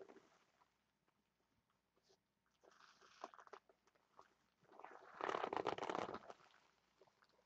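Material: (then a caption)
Vinyl. A large, stuffed, glossy red vinyl heart pillow is scratched and rubbed with long nails while hands squeeze its lobes. Quiet, irregular scratchy ticks build into louder bursts of crinkly, squeaky rubbing, with the loudest dense stretch near the end before it fades back to light scratching.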